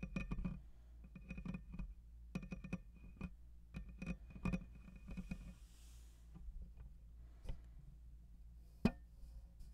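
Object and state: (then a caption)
Metal mesh microphone grille being scratched. Fingertips and nails of both hands scratch directly on the hollow metal mesh grille of a black USB condenser microphone. The result is close, low-heavy rasping and rumbling in irregular bursts, with brief dry clicks and a sharper, brighter tick near the end.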